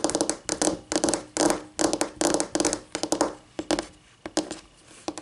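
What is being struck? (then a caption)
Laminate tabletop tapped with fingernails. Long painted nails tap with both hands on a flat, solid white laminate tabletop. The result is quick, uneven bursts of crisp, bright clicks with a hollow tap near 340 Hz underneath. Each click dies away almost at once, leaving short pauses between clusters.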